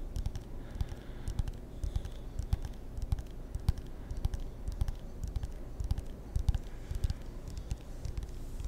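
A wooden table tennis paddle with rubber faces is tapped and scratched with fingertips, giving a steady stream of quick, uneven taps with dull, low thuds and short, dry clicks. Soft scratching fills the gaps, and each tap dies away almost instantly.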